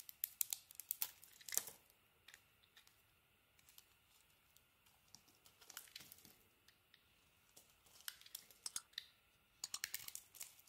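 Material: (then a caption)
Soap. A small metal blade carves and scrapes crumbly chunks off a solid white bar of soap held in the hand. The result is quiet, bright, crisp crackling and scratchy clicks in short bursts, separated by near-silent pauses. The sound is almost entirely high-pitched with no low end.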